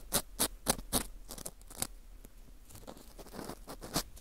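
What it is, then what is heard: Dried wheat gluten fu ring, dry. An orange plastic earpick scrapes inside the center hole of a dry, porous slice of dried wheat gluten fu. Four sharp, bright scratchy strokes come in a quick even rhythm, followed by softer, irregular crackly scraping with a couple more distinct strokes near the end. Each sound is dry and dies instantly, with no ring.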